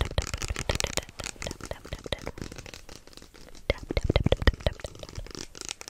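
Fingertips tap and scratch fast on the label of a small, hollow white plastic lotion bottle with an orange cap. Rapid, sharp taps carry a low, hollow knock beneath a bright, scratchy rasp. The taps bunch into louder bursts near the end, each cut off at once with no ring.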